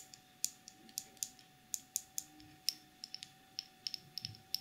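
Long pink nails tap and scratch a small clear plastic cosmetic jar filled with dark glitter and its black plastic lid. About 18 sharp, bright clicks ring out briefly against a faint steady tone, with soft scratching between them.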